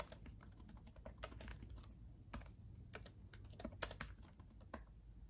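Both hands type with their fingertips on a backlit laptop keyboard with plastic chiclet keys. The result is a quick, irregular run of short, dry, bright clicks with a brief pause mid-way, over a low, steady hum.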